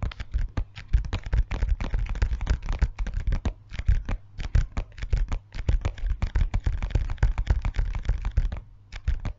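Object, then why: Clear PVC zip pouch. Long fingernails rapidly tap and scratch a transparent PVC zip pencil pouch with a Lego print, held tilted in both hands. Quick dry clicks and crinkly scrapes come in dense bursts, with short pauses and a heavy low thump under each touch.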